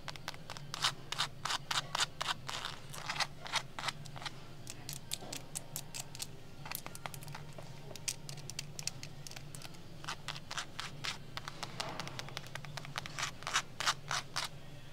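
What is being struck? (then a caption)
Canvas bag with leather tab. Long acrylic nails scratch and tap across a medium, hollow, soft olive canvas bag with a gold key print, a brown leather tab, a zipper and a brass D-ring, working over both the canvas surface and the leather tab. Quick, irregular bursts of bright, dry tapping and scratching come in clusters, each stroke dying away almost instantly. A steady low hum runs underneath throughout.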